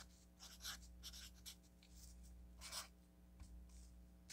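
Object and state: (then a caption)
Marker writing on a paper sticky note pad. A felt-tip marker writes on an orange paper sticky note pad resting on a table, making quiet, bright, scratchy strokes in short bursts. A steady low hum runs underneath throughout.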